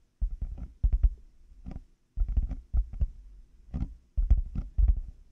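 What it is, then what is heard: Plastic headphone earcups tapped. Fingertips and nails of both hands tap on black hollow plastic over-ear headphone earcups fitted on a 3Dio binaural mic. The result is quick, dull, low, hollow thumps in rapid clustered bursts with short pauses between them, each tap dying away almost at once.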